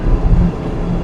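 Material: Nothing is struck.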